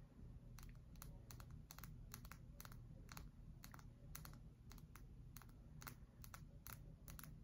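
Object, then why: Bar of soap. A solid cream-colored bar of soap, held in both hands, is tapped and scratched on its face and edge with long acrylic nails. Quick, sharp clicking taps come in uneven clusters over a steady low rumble throughout.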